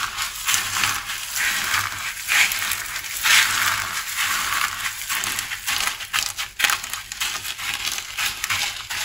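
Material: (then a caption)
Soap. A large flat pile of small red, green and cream dry soap shards on a wooden surface is pressed, rubbed and squeezed with fingertips and palms. The pieces give a steady, dense, bright crunching and crackling with almost no low end, in irregular bursts that rise and fall in loudness.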